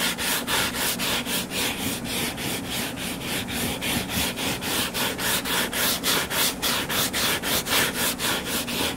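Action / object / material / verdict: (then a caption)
scrape / paperback book cover / paper / none. Fingernails scratch and rub the cover of a solid purple-covered paperback book lying flat. The result is a steady, rhythmic back-and-forth scraping, about two strokes per second. Each stroke carries a bright, airy hiss over a faint low rumble.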